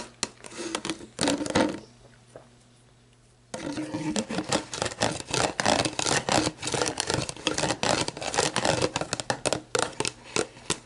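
Long black nails scratch and tap the label and ridged lower section of an empty, hollow, clear plastic sports drink bottle. Quick, irregular crinkly scratches and hollow taps sound bright and close over a faint low hum. They pause briefly after about two seconds, then resume in a dense, uneven stream.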